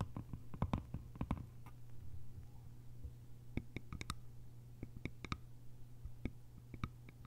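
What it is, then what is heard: Bamboo lidded container. Long nails tap a small, hollow, cylindrical bamboo lidded container, first on the top of the lid and then along its sides. The result is a quick run of light, dry clicks that die away almost at once, each with a bright edge. They sit over a steady low hum.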